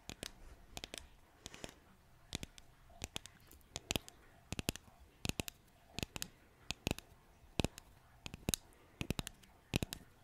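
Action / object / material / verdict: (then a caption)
tap / flat painted wooden sign / wood / none. Long nails tap and click across the surface of a flat, solid, green-painted wooden bottle-shaped decor sign labeled "spider legs," about hand-to-forearm in size. Short, dry, bright clicks come in quick irregular bursts with no ring, over a quiet, low background hum.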